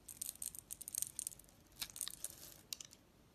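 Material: Soap.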